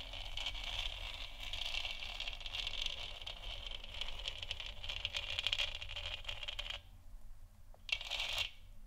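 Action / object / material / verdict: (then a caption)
scrape / plastic sphere lamp / plastic / none. Long nails on both hands tap and scratch a lit, hollow plastic moon lamp sphere, producing a dense, bright rustling centered near 3 kHz over a steady low hum. The scratching runs continuously for about seven seconds, drops away into near quiet, then returns as a short, sharp burst of tapping and scratching near the end.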